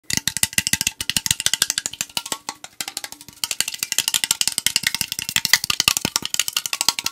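A tall, hollow AriZona green tea aluminum can is held near the mic and tapped fast with fingertips and nails along its side. The result is a rapid, uneven run of dozens of short, bright, clicky taps with almost no low end. Behind the taps sits a faint metallic ring around 2 kHz.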